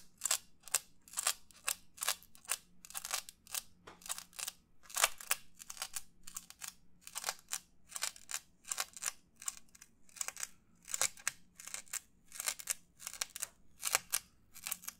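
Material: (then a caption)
Paper. Fingernails rapidly scratch and tap the rim of a white textured disposable paper plate close to the mic. The result is a quick run of dry, bright, crackly scratching bursts with almost no ring, over a faint low hum.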